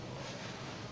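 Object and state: Nothing is struck.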